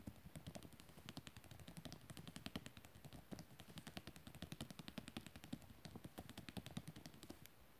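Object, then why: Coated photo paper page in a book. Fingertips and nails of one hand rapidly tap and scratch across a glossy printed photo page in a book lying open. The result is a fast, quiet stream of short, dry clicks and scrapes with a soft low body and a bright papery edge.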